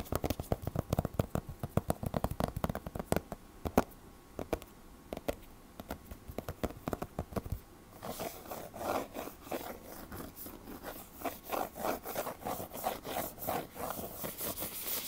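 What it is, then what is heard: Hardcover book with laminated cardboard cover. Short fingernails and fingertips scratch and rub the glossy laminated cardboard cover of a closed hardcover picture book lying flat on a table. The first half is a rapid run of sharp, dry scratching clicks. After about eight seconds it shifts to softer, brighter, rhythmic rubbing strokes.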